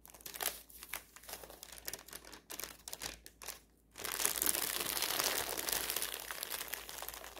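Fingertips and long-ish nails rub, scratch and crinkle a large, thin, wrinkled printed paper store flyer spread open on a table. Short, bright crinkles and scratches come in quick irregular bursts for about four seconds, then a brief near-silence. After that comes steady, louder, continuous crinkling rich in high hiss.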